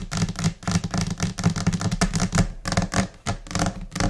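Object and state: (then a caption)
Laminate desk tapped with nails. Long nails tap rapidly with both hands on a flat, solid white laminate desk surface, in a scattered, irregular rhythm. Each tap is a crisp click over a dull low thump, dying away almost instantly.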